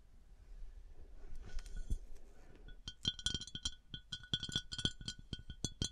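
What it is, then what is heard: Glass decanter. Fingers tap and scratch on a glass bath oil decanter with textured and smooth glass surfaces. Soft scratching and faint taps in the first half give way to a quick, uneven run of sharp clinking taps, each with a short, bright glassy ring near 3.2 kHz.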